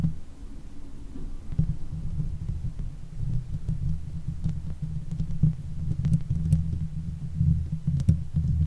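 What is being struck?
Steel mesh microphone grille.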